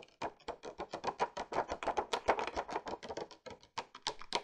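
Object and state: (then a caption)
Cardboard gift box tapped with nails. Long painted nails rapidly tap and scratch the top of a flat, hollow printed marbled cardboard gift box for a beauty set, which has a clear plastic window showing brushes inside. The taps are dry, short and papery, with a hollow midrange tone, bright scratchy edges and almost no low end. They come in a quick, uneven patter that dies away instantly.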